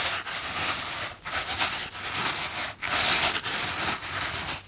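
A small, hand-sized, white polystyrene foam box, hollow and closed, is held in one hand and rubbed and squeezed with the fingertips. The result is a steady, bright, squeaky, scratchy rasp with a few brief dips as the fingers shift their grip.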